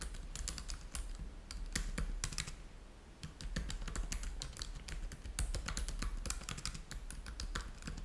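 Both hands type with their fingertips on a black laptop keyboard with plastic keys, producing rapid, bright clicking keystrokes over a steady low hum. The typing pauses briefly near the middle, then resumes in a quick, dense run of short, dry taps.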